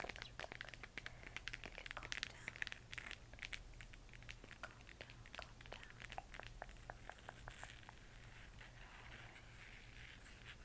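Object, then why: 3D-printed plastic moon lamp. Long manicured nails and fingertips tap and scratch a handheld, hollow, spherical moon lamp made of 3D-printed plastic, lit from inside and changing colour. Quick, bright plastic clicks and ticks come thickly over the first half, then thin into softer scratching, all over a steady low hum.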